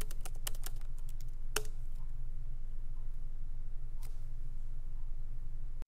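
Fingertips of both hands tap continuously on a MacBook Pro keyboard, its low-profile plastic keys set in a solid aluminum body. Sharp, bright clicks come in an irregular burst at first, then more sparsely, over a steady low hum.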